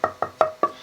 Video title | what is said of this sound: Luthier Wood Review: Cherry for Guitar Bodies Necks Tops Tonewood | It's a little bit dead down here because there's some run out.